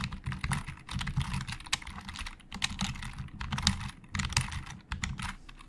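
A hollow black plastic Logitech computer keyboard is typed on with the fingertips of both hands. Quick bursts of crisp, bright key clatter over a low hollow thock are separated by short pauses, and each keystroke dies away almost instantly.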